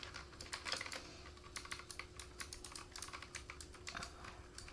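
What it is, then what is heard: Plastic mechanical keyboard. Fingertips of both hands type rapidly on a black plastic K28 mechanical keyboard with RGB backlight and a wrist rest. The keys give a quick, uneven run of sharp, bright clacks with short decays. A faint steady low hum sits underneath.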